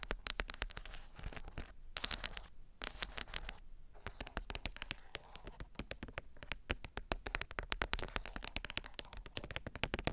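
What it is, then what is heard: Wooden board book. Long matte black pointed nails rapidly tap and scratch across a flat wood-grain board book page with a black spider cut-out design, lying flat with a small microphone resting on it. The result is dense, dry clicks and bright scratching with a low thumpy body, each tap dying away almost instantly, with a few brief pauses.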